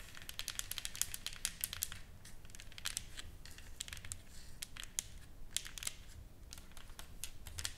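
Long nails tap and scratch across a solid, flat painted wooden plaque, a sign board with carved writing and painted flowers, resting on a table. Rapid, sharp, bright clicks are interspersed with dry scratching, each tap dying away almost instantly over a faint low rumble.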